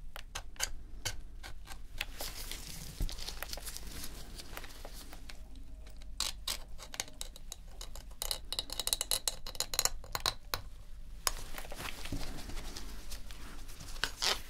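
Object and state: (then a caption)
Plastic game controller. A metal dental pick scrapes and picks around the D-pad and grip seams of a dirty, hollow white plastic PS4 controller as dust falls onto the mat. Rapid, dry, bright ticks and short scratchy clicks come in uneven bursts over a faint low hum, each one stopping almost instantly.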